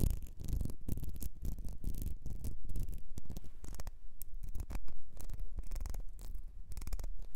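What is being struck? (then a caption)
Ribbed glass perfume bottle. Long nails scratch and tap the ribbed sides of a small, clear glass perfume bottle with a gold nozzle, partly filled and held over fur. The result is a steady run of quick, dry scratches and taps with a heavy low rumble and almost no ring, rising and falling in short bursts.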